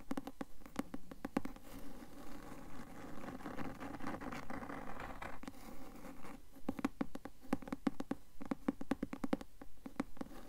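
Long nails tap and scratch the front cover of a blue cloth hardcover book with a gold bird design, held upright in the hands. Quick, dull, dry taps come first, then a stretch of soft continuous scratching. The clip ends with a run of fast, uneven taps.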